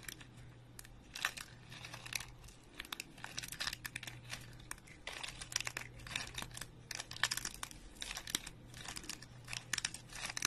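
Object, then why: Soap chips. Dry, speckled soap chip fragments are squeezed, rubbed and crumbled between fingertips and thumb over a pile of soap chips. The result is a quiet, steady stream of bright, crisp crunching and crinkling bursts, with a faint low hum underneath.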